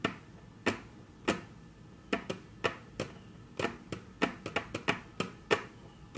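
Very long natural nails tap on a flat, solid, dark brown wood-grain tabletop, making 17 sharp, bright clicks at an uneven pace. Each tap dies away almost instantly, and the taps come closer together toward the end over a quiet, steady background.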